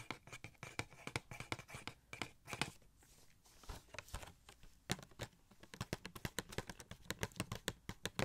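A small hollow cardboard Funko Pop box for the gold Shuri figure, with a plastic window and the figure inside, is held and tapped and scratched with fingertips. Quick, dry, close taps arrive in rapid bursts, with a softer scratchy stretch in the middle before the tapping picks up again.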